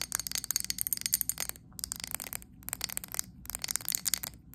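Long acrylic nails tap quickly on the glass sides and base of a medium glass candle jar filled with green wax. The result is dense bursts of sharp, bright clicks with almost no ring, broken by two brief pauses.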